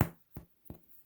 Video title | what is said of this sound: FAIL PROOF! EASY SANDWICH BREAD | you hear that it sounds Hollow it is ready